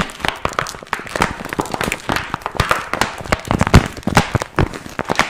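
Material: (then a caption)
Vinyl. A small, empty, glossy pink patent vinyl (PVC) cosmetic pouch with a zipper and strap is held in both hands while fingertips squeeze and crinkle it. The result is a dense, irregular stream of sharp, dry crackles and pops, with a broad crisp texture and no lingering ring.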